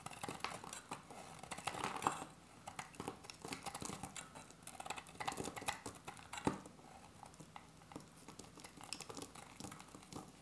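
A solid beige dry soap bar is held in the hand and cut with a metal utility-knife blade, giving short, crisp scraping and shaving strokes. The strokes come as a quick, uneven run of dry, papery scrapes and small clicks with bright edges, and a few sharper cuts stand out near the start and middle.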